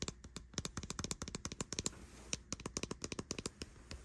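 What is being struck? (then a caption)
Plastic air conditioner remote. Long white nails tap and click rapidly on the buttons and casing of a white plastic air conditioner remote with an LCD screen and rubber buttons, lying on a bed sheet. About two dozen quick, dry, bright clicks and taps are heard, each cutting off almost instantly with no ring, over a faint soft hiss.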